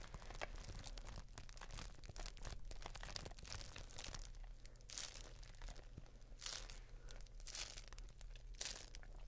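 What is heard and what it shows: A clear, thin, flexible plastic bubble wrap sheet is held up in both hands while fingertips and nails squeeze and crinkle it. The result is a dense, continuous run of bright crinkling and crackling, with louder rushes of sharp, high crunches every few seconds. A steady low hum sits underneath throughout.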